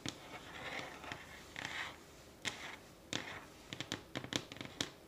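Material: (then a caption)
Wood. Long glittery nails tap and scratch a solid light pine wooden tabletop with visible grain. Sharp, bright clicks come in quick bursts between stretches of raspy scratching, and each tap dies away almost at once.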